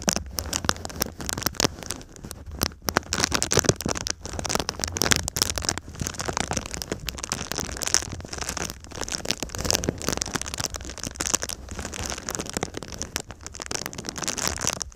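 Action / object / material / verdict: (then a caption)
scrape / foil-faced foam insulation sheet / foil / none. Fingernails scratch and tap the crinkled surface of a silver foil-faced foam insulation sheet held in a V shape. The result is a steady, dense stream of crisp, bright crackling and rustling, with quick sharp taps scattered throughout over a faint low hum.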